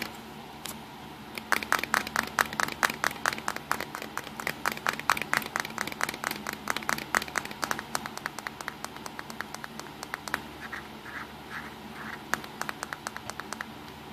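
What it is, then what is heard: Plastic compact camera being tapped. Fingertips tap quickly over the front and lens area of a small, hollow-bodied black plastic compact digital camera resting on a pink towel. The result is a rapid, uneven flurry of sharp, dry, clicky taps with almost no ring, over a faint steady hiss.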